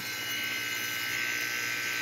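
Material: Nothing is struck.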